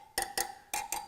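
Steel wire spokes on a Panhead motorcycle wheel are tapped four times with a metal object. Each tap gives a short, bright ting with a clear tone near 820 Hz. The ringing tone shows the spokes are snugged up tight rather than loose or broken.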